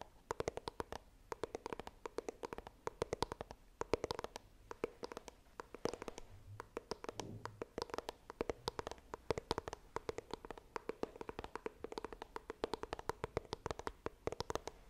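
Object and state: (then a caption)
Cardboard phone box. Long nails tap and scratch the front of a small, hollow white iPhone retail box of coated cardboard held upright. A rapid, steady stream of short, dry clicks with a hollow ring around 450 Hz runs throughout, over soft scratching with bright tips on each tap.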